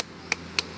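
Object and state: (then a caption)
Young coconut. A young fresh coconut is patted by hand, just after a slightly older one, and sounds different from it. Two short, bright pats are heard, with sharp, dry taps that die away almost instantly. The coconut is young.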